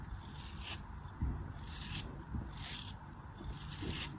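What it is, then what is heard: Kinetic sand block being cut. A craft blade slices and scrapes the edges of a small, solid, packed chunk of pink kinetic sand held between fingers with long pale nails. Repeated gritty, bright rasping strokes come with soft low thuds as the sand crumbles off.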